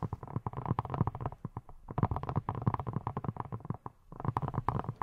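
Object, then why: Silicone pineapple-shaped brush. Long nails tap and scratch over a hand-sized yellow silicone pineapple-shaped brush with a textured surface that appears hollow. The result is rapid, soft, muffled thuds and scratches, low and rubbery with almost no ring, in three dense bursts separated by short pauses.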